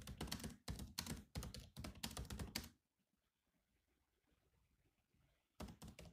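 Fingertips type on the black plastic keys of a silver laptop, producing quick clusters of crisp key taps with a low thunk and bright clicky edges. The typing runs for nearly three seconds, stops for a near-silent pause, then resumes for a final short burst.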